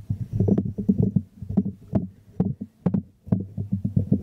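Fingertips and nails tap the glazed base of a small, hollow white ceramic jar held upside down in the hands. The result is a quick, irregular patter of soft, low, hollow knocks with occasional sharper nail clicks, each dying away almost at once.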